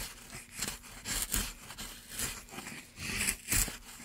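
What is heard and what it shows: A gloved hand drives a gouge along a groove in a solid light pine block, scraping and cutting the wood. A series of short, dry, scratchy strokes is heard, bright and papery with a faint low thump under each pass.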